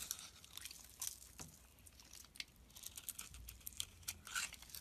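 A small, solid white soap bar held in the hand has thin, crisp flakes scraped off it again and again with a utility knife blade. The result is a quiet run of short, dry, bright crunching scrapes with little low end.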